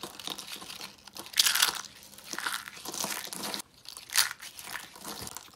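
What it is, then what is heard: Dry soap curls crushed by hand. Tan dry soap curls and flakes are crushed and crumbled in both hands, giving dry, bright crinkling and crunching. Louder bursts of crunch stand out around 1.4 and 4.2 seconds, with softer crumbling between them.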